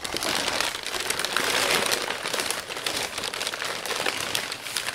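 Fingertips press and smooth crumpled, creased brown kraft packing paper wrapped over a flat frame on a table. The result is a dense, continuous run of bright, dry crinkles and crackles, with almost no low end.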